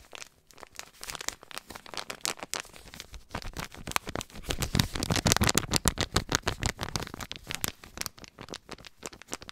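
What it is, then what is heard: Paper compress packet being crinkled. A white paper compress pouch labelled "Kompresse" is crinkled and rubbed with fingertips, producing a dense stream of dry, papery crackles and rustles. The sound spans from low rumbles to bright high crinkles and grows louder and busier in the middle before easing off again.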